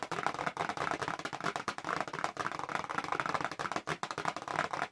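A small, hollow pink-and-white printed paperboard retail box for press-on nails is held up in both hands and fast-tapped on its back panel with long acrylic nails. The result is a rapid, continuous stream of dry, hollow clicks with a papery mid-range tone, very little low end, and each tap dying away almost instantly.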